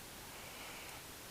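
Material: Nothing is struck.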